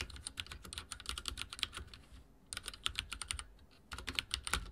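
Fingertips type on a backlit mechanical keyboard with dark plastic keycaps, producing quick, bright, clicky taps that stop short with almost no ring. The typing comes in three bursts separated by two brief pauses.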